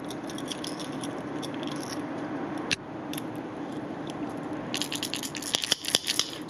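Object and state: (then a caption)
Fishing lure with internal rattles. A hard plastic Storm Thunder Barra fishing lure is shaken to show off its internal rattles, a series of smaller balls plus one large ball bearing. It gives a bright, clicky rattle of many quick, sharp ticks over a steady low hum, growing into denser, louder bursts near the end.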